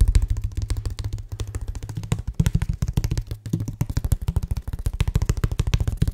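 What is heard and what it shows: A medium, flat, patterned brown cardboard box, hollow and held upright in one hand, is tapped quickly with the fingertips of the other hand. The result is a rapid, steady run of short, deep, hollow thumps with almost no ring, concentrated low in the bass with a faint low hum beneath.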